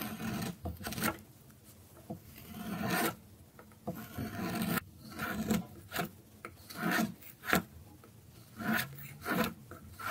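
A dark metal carving blade scrapes and cuts thin shavings from the top edge of a small, solid orange bar of dry soap held in the fingers. Repeated dry, rasping scrapes come in short bursts with a soft, low-mid body and a brighter hiss on the stronger strokes. Quiet pauses fall between the passes.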